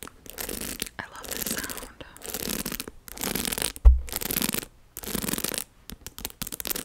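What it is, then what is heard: Plastic round hairbrush. A pink patterned plastic round hairbrush with a hollow barrel and dense bristles, held in one hand, is scratched across the bristles and tapped on the barrel by long acrylic nails. Bursts of crisp, raspy scratching alternate with short pauses, and one sharper tap stands out near the middle.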